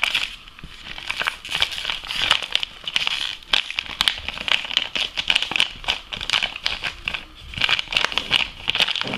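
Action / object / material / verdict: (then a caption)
scrape / foil-lined plastic coffee bag / foil-lined plastic / none. A medium-size, partly empty Lavazza espresso coffee bag made of foil-lined plastic is crinkled, squeezed and rubbed with fingers and nails. The result is a steady stream of bright, sharp crackles and crinkles with very little low end, rising and falling in dense bursts throughout.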